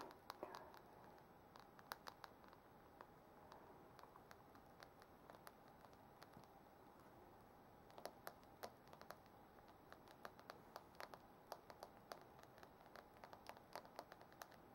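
Long manicured nails and fingertips tap on the glass touchscreen of a white iPhone held in hand, front side up, a flat solid glass surface over the hollow device body. Quiet, sharp, clicky taps with bright ticks and a mid tone around 890 Hz, each dying away almost instantly over a soft steady hiss. The tapping is scattered at first and grows denser in the second half.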